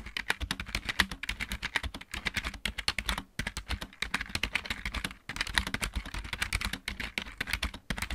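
Both hands type rapidly with fingertips and nails on a full-size backlit plastic mechanical keyboard, producing a dense run of sharp, bright clicks with a soft low thump beneath each keystroke. The clicks come in quick bursts, separated by brief pauses around 2, 3.3 and 5.2 seconds, and each one dies away almost instantly.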